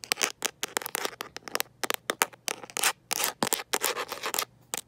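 A smartphone in a mint-green rubber and plastic protective case, held in one hand, is tapped and scratched by long nails fitted with metal paperclips. Quick, bright, clicky taps mix with short scratching bursts in an irregular, rapid run. Each sound stops dry, with almost no ring.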